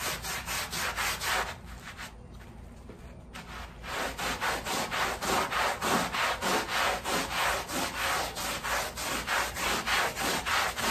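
A wet, patterned woven pile area rug covered in foam lies on a plastic sheet while its front is scrubbed with a long-handled black bristle push brush. Quick, steady back-and-forth strokes make bright, wet swishing rasps, with a softer, quieter stretch early on before the brisk rhythmic scrubbing resumes and continues to the end.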